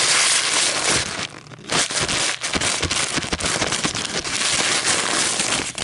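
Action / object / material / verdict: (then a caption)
scrape / thin paper coffee filter / paper / none. A single thin, light, flexible white paper coffee filter is held up and crinkled, then laid flat on a table where long polished nails and fingertips tap and scratch it. The result is a dense, bright, papery crackle with a brief quieter dip near the start, followed by continuous crisp rustling and sharp scratchy ticks.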